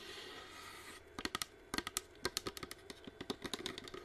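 A hollow white plastic flame-effect humidifier diffuser, running with mist and held close to the mic, gives a soft steady hiss for about a second. Then long nails tap fast on its plastic side shell, making about twenty sharp, bright, typing-like clicks that stop dead over the continuing hiss.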